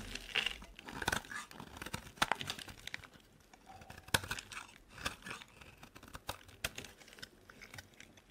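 A metal utility blade scrapes thick flakes off a solid white bar of soap. The clip is a quick run of dry, crisp scraping and crunching strokes with bright crackle and very little low end, each short and dying away almost at once.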